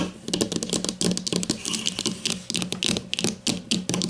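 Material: Plastic.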